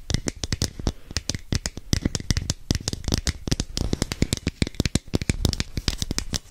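Long nails tap and scratch a hand-sized, hollow red and orange plastic capsule held next to the microphone. It makes a rapid, uneven run of dozens of short, dry clicks, each with a low knock and a bright, crisp edge that dies away almost instantly. Faint scratching fills the quieter gaps between the taps.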